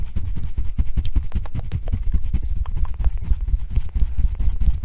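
A blue and yellow hollow felt-covered rubber tennis ball is held in the hands and tapped and scratched with long nails. A steady run of rapid, dull, muffled thumps stays deep and low, with faint brief scratchy ticks above them and almost no ring after each tap.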